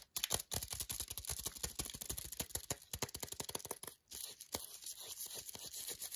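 Long nails rapidly tap and scratch the front and back of a green paper-wrapped milk chocolate bar held in the hand. The sound is a dense stream of dry, bright paper ticks and crinkly scrapes with no ring. There are brief pauses near the start and around the four-second mark.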